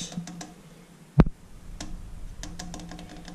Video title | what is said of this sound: PVC PIPE WRAP seal drain pipe with tape | It's thin brass. You can tell. You can hear it when I tap on it. Very thin.